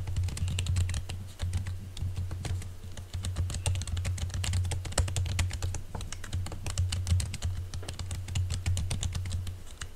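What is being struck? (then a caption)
Laptop keyboard with silicone skin. Fingertips of both hands type in rapid, repeated taps on a silver laptop keyboard covered by a thin green silicone skin. The result is a dense, continuous stream of short, bright keyboard clicks that die away almost instantly, over a steady low hum around 90 Hz.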